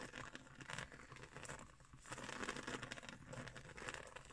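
Long nails scratch and tap a round, coiled, woven straw trivet lying flat on a table. A quiet, dry, crinkly rasp runs almost continuously, with soft taps and brief swells of brighter scratching throughout.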